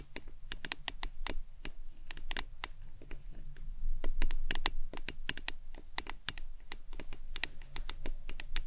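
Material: Plastic.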